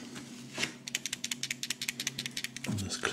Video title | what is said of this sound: Weihnachts Party Kinderüberraschung Ü Ei Unboxing # 8 [Deutsch] | Und es klappert immer noch. Das sagt uns ja, dass irgendwie was zum Zusammenbasteln ist.